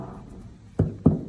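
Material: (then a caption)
Body tissue. Finger-on-finger percussion of the right chest wall over the liver gives two short, dull, low thuds with almost no ring, a normal liver dullness found while moving down the intercostal spaces toward the right heart border.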